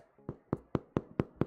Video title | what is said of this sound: 【 Virtual Bakery 】RECIPE RETCON! Brioche, Milk Bread, Challah... Sourdough? So much bred pt.1 | it's Hollow sounding so it is most likely cooked